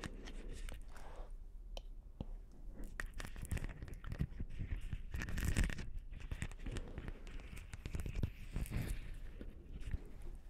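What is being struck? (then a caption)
Beaded plastic ball ornament. A palm-sized, hollow blue beaded plastic Christmas ball ornament with a hanging ribbon is scratched and tapped with long nails close to the microphones. Dense, crackly scratching and many quick, dry clicks run throughout, with a heavy low-end rumble and short, non-ringing taps.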